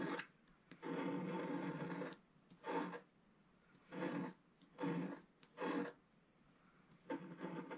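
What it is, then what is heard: Scratch art paper page being scratched. A wooden stylus scratches boats and waves into a solid, flat, black-coated scratch art paper page about A4 in size. Seven dry, raspy scratching strokes are heard, some short and one long, separated by quiet pauses.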